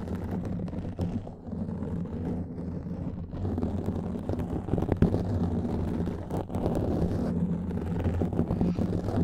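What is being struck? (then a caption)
Foam microphone windscreen. Fingertips and nails of both hands scratch a black foam windscreen on a microphone. The result is a dense, continuous, rumbling scrape and rustle, heavy in low tones with little high content, and a few slightly louder swells along the way.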